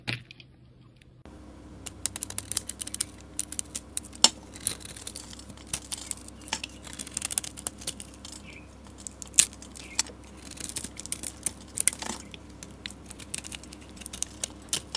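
A metal utility blade scrapes curly shavings off a solid orange bar of soap with a white and red glitter coating, held in a hand with long nails. Dense, bright scratchy rasps and crisp crinkling clicks come in irregular bursts over a low steady hum, with a few sharper snaps standing out.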